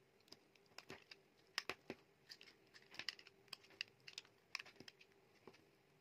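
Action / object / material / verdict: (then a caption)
scrape / bar soap shaved with a metal blade / soap / none. A metal utility knife blade shaves thin slices off a solid, dry, palm-sized teal oval bar of soap. Quiet, crisp scraping and crackling snaps come in an uneven series of short, bright bursts with almost no low end. Each cut stops dead with no ring.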